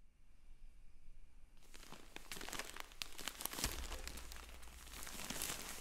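Hands in black finger sleeves rub, squeeze and crinkle a sealed, filled yellow polyethylene shipping mailer with a paper label, possibly with some peeling or tearing from the label tape. After about a second and a half of near silence, dense, bright plastic crinkling and crunching begins and builds into a steady rustle with sharp crackles. A low rumble sits underneath from about the middle of the clip onward.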